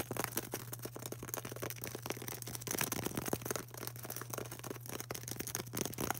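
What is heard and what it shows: A solid, palm-sized white polystyrene foam ball is tapped and scratched with long orange acrylic nails. Dense, quick, dry clicks and scratchy rasps sound over a steady low hum. Each tap dies away almost instantly.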